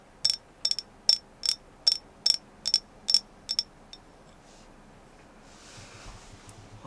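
A carved agate moon goddess figure is tapped in a steady series of about eleven sharp, bright clicks with a high ringing tone, each dying away almost at once. The tapping stops after about four seconds, leaving faint hiss and soft rustling.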